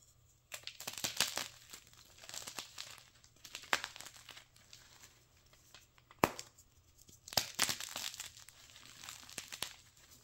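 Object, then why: Block of gym chalk (magnesium carbonate). A white gym chalk slab of magnesium carbonate, solid, dry and brittle, is snapped and its chunks crushed with bare fingers above a pile of powder. Dry, bright crunching and crackling come in clustered bursts, with sharp snaps standing out, especially one crisp crack near the middle. Quieter crumbling fills the gaps between the louder bursts.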